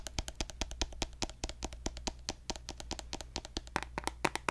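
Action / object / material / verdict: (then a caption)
tap / plastic lotion bottle / plastic / none. A pink plastic lotion bottle is held horizontally and tapped along its body with fingertips and nails. The result is a quick, uneven run of about 34 short, dry, bright clicks over a steady low hum.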